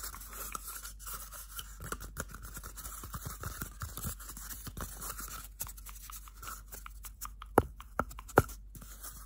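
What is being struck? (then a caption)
Cardboard toilet paper tube. Bare fingertips and nails rub and scratch a small, hollow, empty cardboard toilet paper roll. The result is a quiet, steady stream of dry, papery scraping and faint ticks. Three sharper, louder clicks stand out near the end.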